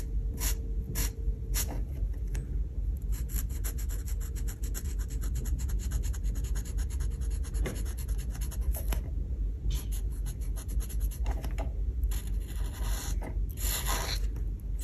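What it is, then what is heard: Paper page rubbed with a marker. A marker nib rubs rapidly back and forth across a paper colouring page of an oven drawing. The result is a dense run of bright, scratchy strokes over a steady low rumble, at an even level throughout.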